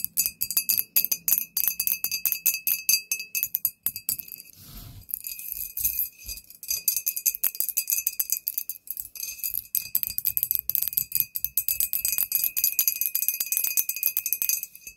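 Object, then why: Glass bottle. A glass bottle is tapped rapidly with nails, producing a dense run of bright, glassy clinks with a steady high ring. A brief quieter, softer stretch falls just before the halfway point, then the quick tapping resumes.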